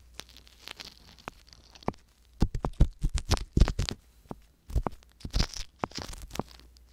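A wooden ear pick scrapes inside the canals of silicone ear microphones while fingertips with long nails hold the outer silicone ear, with only the silicone ear touched. Quiet, dry crinkling scratches give way to clusters of louder, crunchy scraping bursts with bright edges, all over a faint low rumble.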